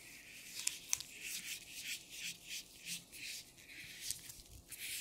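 Thin black nitrile gloves worn on both hands, with the gloved fingers rubbed and squeezed against each other. Quiet, bright, hissy rubbing comes in rhythmic swishing pulses, broken by a few sharp little snaps.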